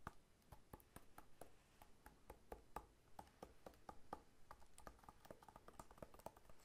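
Fingertips patter and tap on the scaly rind of a whole, solid pineapple lying on its side and held in one hand. A quick, irregular run of soft, dry taps, each a short knock with a hollow tone around 850 Hz and a dull low thump. Every tap dies away almost instantly.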